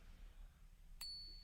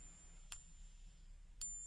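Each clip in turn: First: A single bright, high ping rings clean for about half a second: genuine silver coin. Second: Two light pings bring out a thin, very high, whiny ring that marks a copper-nickel coin, not silver.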